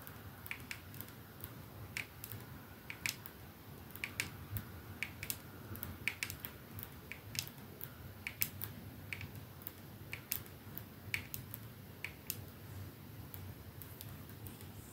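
Fingertips and nails of both hands tap slowly on a 212 perfume bottle, a silver metal sleeve with glass domed ends lying on a dark surface, striking both the metal sleeve and the glass end. About 28 short, bright clicks and ticks stand out, each dying away almost instantly over a quiet, low background hiss.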